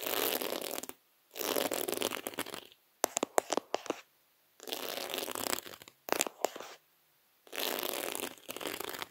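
Fingertips with short nails tap and scratch across a round, flat, thin placemat covered in small reddish-copper beads laid in concentric rings. Long stretches of dense, bright scratching alternate with bursts of sharp, separate taps, and the pattern repeats through the clip.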